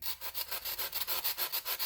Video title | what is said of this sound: Stay Fresh Freeze Dryer - Unboxing, Setup, and Bread Run! | these two pieces of bread are completely dried. You can hear how crispy they are.